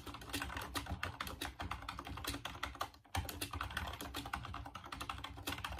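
Fingertips type rapidly on the keys of a full-size off-white plastic Dreamcast computer keyboard, producing a dense stream of short, bright plastic clicks over a low thump. The typing pauses briefly near the three-second mark, then resumes at the same quick pace.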